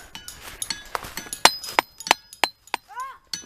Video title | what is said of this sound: WE HIKED UNDER A WATERFALL!! | these rocks ring I'm not even frickin joking